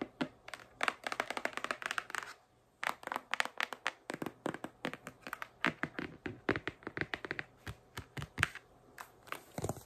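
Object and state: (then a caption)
Cardboard packaging box. A large pink printed cardboard retail box with a clear plastic window is held upright and tapped and scratched with long acrylic nails across its flat cardboard face. Quick, dry clicks and scratchy strokes come in dense bursts, with a brief pause just after two seconds before the tapping resumes.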